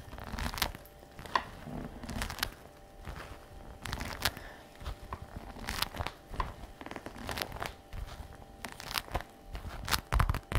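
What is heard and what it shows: Fingertips and long nails tap and rub across the flap of a glossy black patent faux leather messenger shoulder bag lying flat. Sharp, bright clicks and crinkly, papery scratching come in uneven bursts over a soft low rumble. Each tap dies away almost at once.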